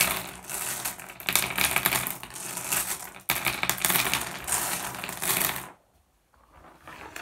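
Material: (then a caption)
Glass. Fingertips rake and shuffle a pile of small, solid, blue iridescent flat glass gems on a wooden surface, making a dense, bright clicking and rattling that runs steadily with a brief break near the middle. The clatter stops just before six seconds, leaving near silence before faint, softer shuffling returns at the end.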